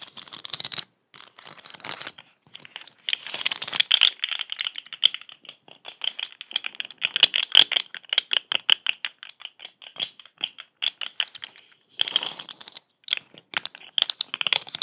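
A small, hollow, striped plastic segmented fidget toy is held in one hand and tapped and scratched with long acrylic nails, its segments rattling. The sound is a dense run of bright, dry clicks and scratchy rattles centered around 3.3 kHz, with no low end. The clicks die away almost instantly and come in uneven bursts with brief pauses.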